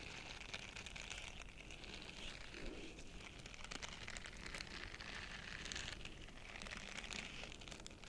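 Fingertips and nails scratch and rub the soft bristles of a small purple heart-shaped silicone face scrubber held in both hands. A quiet, steady, dense crackling scratch with a bright, hissy edge continues for about eight seconds without a break.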